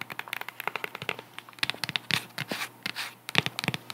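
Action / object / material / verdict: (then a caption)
scrape / wedge sandal with woven jute and cork sole / jute, cork / none. A woman's sandal with white straps on a tall, solid woven jute/cork wedge sole is held in the hands and scratched and rubbed with long acrylic nails. Dense, bright, crackly scratches and quick sharp ticks follow one another, mixed with a few longer rasping rubs.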